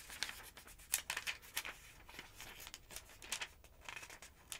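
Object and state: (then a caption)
Paper phonebook. A long-nailed hand rubs the page of a large open paper phonebook, then lifts and flips a bunch of pages. Quiet, bright papery rustles and crinkles come in a quick run of short, crisp bursts with almost no low end.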